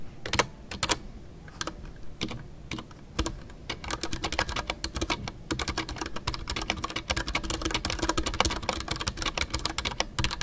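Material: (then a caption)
Plastic. Fingertips type continuously on a full-size Ducky One 2 mechanical keyboard with a white case, MX Brown switches and custom artisanal PBT plastic keycaps. A few sparse, sharp clacks at first give way to a dense, steady run of quick keystrokes. Each has a bright click over a muted low thock and dies away almost at once.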